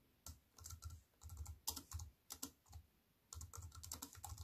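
Long nails type on an aluminium-framed wireless keyboard with black plastic keys, producing quick bursts of soft clicky taps separated by brief pauses. Each keystroke pairs a low, dull thud with a bright click, and some keys snap noticeably sharper. The sound is quiet and dry, with almost no ring after each tap.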